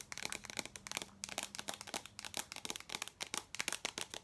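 A small cylindrical tin canister with a vintage print and a gold lid, likely hollow, is held in both hands and tapped rapidly with long acrylic nails. The result is a quick, uneven stream of bright, crisp clicking taps that die away almost instantly, with little low end and a faint steady hum beneath the first half.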